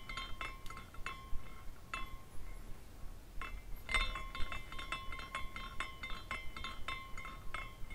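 A hand spins a small glass carousel figurine, and its hanging glass horses tinkle against each other. Light, bright clinks come at irregular intervals, each with a clear ringing tone that lingers over a soft background hiss.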